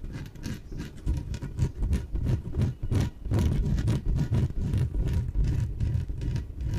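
Long nails scratch the surface of a small, hollow, air-filled yellow inflated PVC exercise ball held in both hands. Rapid, irregular scratching strokes come about three times a second, each with a dull, low hollow thump from the air inside and a bright, papery rasp on top.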